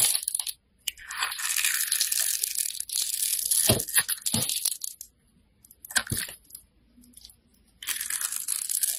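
A metal blade scrapes the surface of a handheld, solid, orange translucent bar of soap, shaving off crumbs. Bright, crisp scraping and crunching comes in long bursts, broken by brief silences and a few sharper low-pitched knocks.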